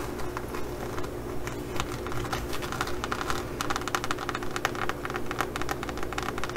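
Long nails rapidly scratch the textured surface of a green faux leather pouch embossed with pyramid studs. The result is a dense, irregular run of crisp, bright scratching clicks over a steady low hum.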